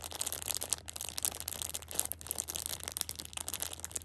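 A Shopkins pocket tissue 6-pack in clear plastic wrap is held in hand while long red nails rub and tap the plastic surface. The result is a dense, bright crinkling with quick taps and scratches over a faint steady low hum.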